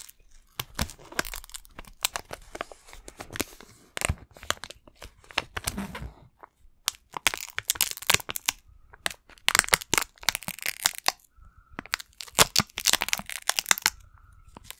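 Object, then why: Plastic video game case. Fingernails tap and scratch across a hollow green plastic Xbox game case, possibly still in its shrink wrap. Dense bursts of sharp, crackly clicks and crinkling scrapes sound bright and thin, with almost no low end, and are broken by short quiet pauses.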